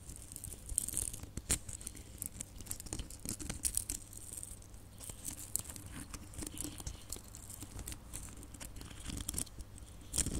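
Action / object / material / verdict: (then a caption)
scrape / small plastic Christmas baubles with glitter coating / plastic / none. Long nails scratch and tap small hollow red glitter plastic Christmas baubles. The result is a dense stream of quick, dry clicks and crackly scraping with a bright, hissy top, over a steady low hum.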